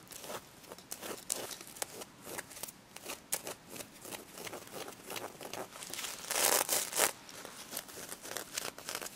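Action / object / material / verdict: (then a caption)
scrape / plush toy covered in plastic sequins / plastic sequins / none. Long red nails scratch and rub the plastic sequins covering a pink stuffed plush pig toy, with some tapping. The result is a quick, irregular run of dry, bright crinkling scrapes and clicks, with a louder, denser rasp around the middle of the clip.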